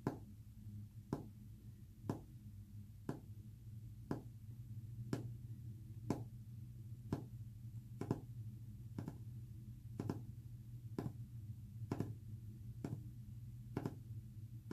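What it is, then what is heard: Painted wooden panel tapped with fingernails. Short fingernails tap a solid, flat white painted wood panel with a brush texture, producing about fifteen short, dry, bright clicks spaced roughly a second apart. Each tap fades almost instantly over a steady low rumbling hum that continues underneath throughout.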